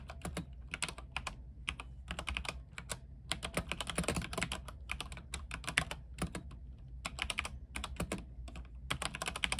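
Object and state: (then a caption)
Mechanical keyboard with plastic keycaps. A compact mechanical keyboard with white plastic keycaps, a silver case and RGB lighting is typed on with the fingertips of both hands. It produces rapid bursts of short, bright, clacky keystrokes with brief pauses between runs, over a steady low hum.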